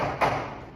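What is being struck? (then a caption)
Table. A single knock on a table, a short dull thud with a midrange body around 700 Hz, heard over a steady background hum. It fades out within about a quarter second. The knock travels through the solid table and then through the air.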